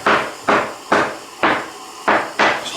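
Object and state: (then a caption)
Hollow (debonded) magnesite floor screed. Six hollow taps on a red magnesite floor screed laid over a concrete base, each a short knock centred in the mid frequencies with a brief ring. The hollow sound shows the screed is not bonded to the base, and the floor also gives off-the-scale damp meter readings.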